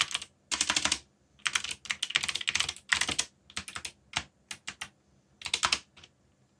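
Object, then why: Mechanical keyboard with plastic keycaps. Fingertips type on the plastic keycaps of a black backlit mechanical keyboard. Bright, clicky keystrokes come in quick bursts separated by short pauses, each click dying away almost at once.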